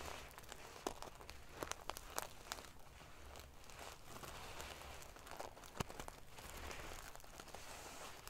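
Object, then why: Pillow covered in small metal sequins. Long painted fingernails scratch and ruffle the small silver metal sequins sewn in rows onto the fabric of a large decorative pillow. The result is a steady, quiet, prickly rustle of bright crinkling and scraping, broken by sharp little clicks as the sequins flick against each other.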